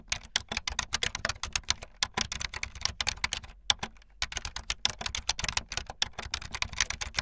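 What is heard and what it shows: Fingertips with long light-blue nails type fast on a full-size keyboard with white, blue and yellow plastic keycaps and a blue backlit frame. A rapid stream of crisp, bright plastic clicks and clacks, with very short decay and little low end, pauses briefly past the midpoint before the quick typing resumes.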